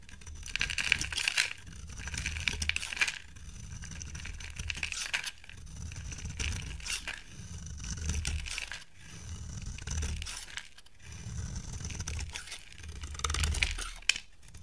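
A solid oval white soap bar held in the hand is shaved with a utility knife blade. Repeated dry scraping strokes give bright, crinkly shaving rasps over a low rumble, rising and fading in a steady rhythm with no speech.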